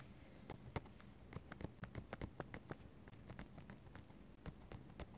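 A metal-nib dip pen stipples and scratches ink strokes on a paper sketchbook page. A quiet, uneven series of short, dry taps, each fading almost instantly, mixes with soft scratching strokes against a low, muffled background.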